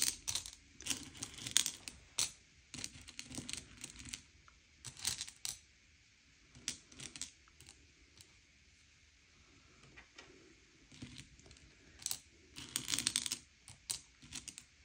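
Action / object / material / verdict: scrape / Hard sugar-shelled chocolate candies on a plate / sugar shell / none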